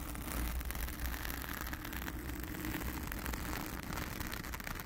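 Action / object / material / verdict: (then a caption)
scrape / foam microphone windscreen / foam / none. Long acrylic nails on both hands scratch the blue foam cover of a round studio microphone. The result is a steady, dense crackle of scratching over a deep, booming low rumble, with faint bright hiss above.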